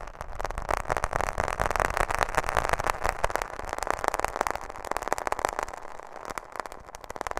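Long nails tap rapidly on a handheld smartphone's black plastic case and glass screen, held close to the microphone. The result is a dense, continuous stream of sharp, dry clicks centered in the midrange, with quick bursts that rise and fall in loudness and a faint low rumble underneath.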